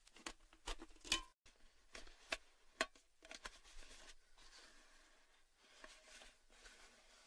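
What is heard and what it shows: Fingertips and nails tap on the lid and upper side of a tall, red, hollow cylindrical metal Baileys gift tin held upright with its lid on. Eight quick, bright metallic taps ring only briefly, with a tinny tone near 3 kHz. They fade into quieter, softer tapping and patter.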